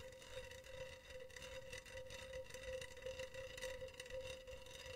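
Long teal nails scratch along the wire mesh near the rim of a hollow, empty, silver wire-mesh cylindrical pen holder. The result is a quiet, steady metallic rasp with a sustained ringing tone near 520 Hz and bright overtones, pulsing gently as the nails move.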